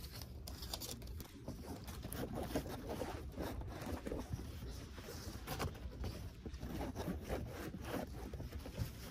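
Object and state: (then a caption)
Felt heart decoration, rubbed and scratched. A large, flat, thin and flexible pink felt heart decoration with a cut-out swirl pattern is held in the hands and rubbed and scratched with fingertips and nails. The result is a steady, soft, dry scratching and rubbing texture with brief brighter scrapes over a low, rumbly background.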